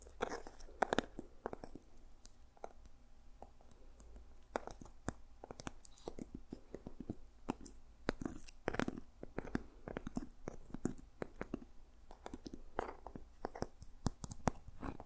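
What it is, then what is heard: Seed pod covered journal, tapped and scratched. Fingertips and nails tap and scratch a small, solid journal with a textured dried seed pod cover and a stitched wooden spine. It makes a quiet, fast series of short, crisp clicks and dry scratchy crackles, with a soft low body under each tap. Every tap dies away almost instantly.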